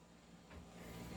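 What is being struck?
Nothing is struck.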